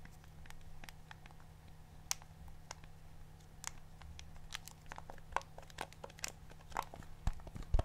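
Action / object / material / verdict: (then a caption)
tap / plastic TV remote control / plastic / none. A black plastic TV remote with colored rubber buttons is held in the hand while a fingertip or thumb repeatedly presses and clicks its buttons. Short, dry, bright clicks come at an irregular pace over a steady low hum, growing louder and denser toward the end.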